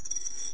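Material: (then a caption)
Ceramic. A small zinc oxide varistor disc, soft before and now harder and smaller after high-temperature sintering, is dropped onto a surface. It makes a brief, bright, bell-like clink that rings high and fades over about half a second. The sound shows the disc is now much harder, with more ceramic-like properties.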